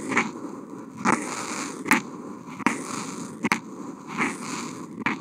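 The felt tip of a Posca paint marker, fitted with a contact mic, is drawn across a flat white Kent paper sheet in continuous wavy strokes. The result is a steady dry, scratchy friction hiss, broken by seven louder, irregularly spaced bright scrapes where the strokes turn.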